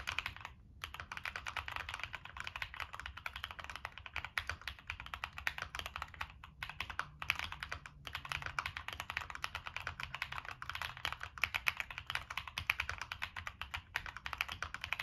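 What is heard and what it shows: A full-size Monsgeek M1 mechanical keyboard, with a black aluminum case that is hollow with foam, a POM plate, NK Cream switches and Cherry-profile PBT-style plastic keycaps, sits on a desk mat and is typed on rapidly with fingertips. It makes a steady, dense clatter of short, bright, dry key clicks with almost no ring. There are a few brief pauses between bursts.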